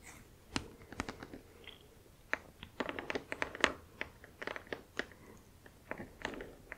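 Long acrylic nails tap and scratch across the glossy back of a flat, printed cardboard Spirograph box that is hollow with its contents inside. An irregular series of sharp, dry, crisp clicks stands out over soft scraping, with very short decay, little low end and a bright edge.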